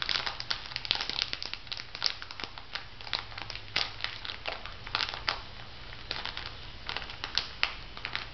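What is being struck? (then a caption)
Plastic foil sheet-mask sachet. A small, filled plastic-foil sheet mask sachet with a pig design is crinkled and squeezed by fingertips with long nails. The clip is a steady stream of dense, bright crinkles with sharp crackling peaks and almost no ring, over a faint low hum.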